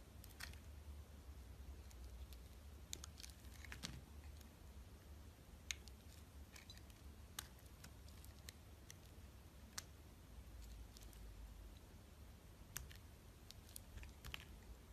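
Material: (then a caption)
Glycerin soap. A utility knife blade shaves thin slices off the edges of a solid, translucent orange glycerin soap bar held in the fingers. Soft, crisp cutting clicks and scrapes come in scattered bursts over a quiet, steady low hum. Each cut is short and dry, with almost no ring.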